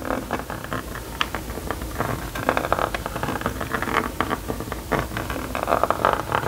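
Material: Plastic.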